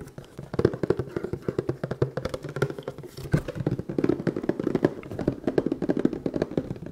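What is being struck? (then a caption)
Small cardboard box. A hand-sized red and black printed cardboard box for an NB-100 respirator, hollow with contents inside, is held in one hand and tapped and scratched with the fingertips of the other while it is turned from front to back. The result is a rapid stream of short, dull, hollow taps with no ring, sitting in the low-mid range, mixed with soft scratching.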